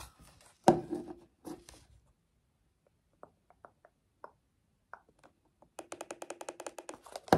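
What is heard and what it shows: Fingertips scratch and press the rubber buttons of a black plastic TV remote control held close. Two louder rubbing, tapping bursts come first, then sparse soft clicks, and finally a quick, steady run of dull button taps.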